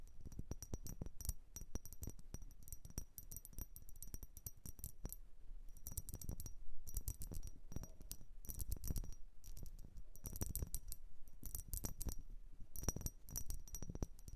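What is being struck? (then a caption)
Vase. A blue vase is tapped and scratched in quick, dense bursts. The result is bright, coin-like clinking, with short clicks and scratchy rustling between the taps.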